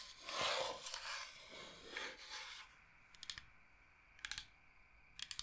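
A large, flat, solid bamboo cutting board shaped like Michigan is scratched across its face with long painted nails, then tapped with them. The first half holds broad, bright rasping scrapes. These give way to crisp clusters of quick, dry taps that barely ring.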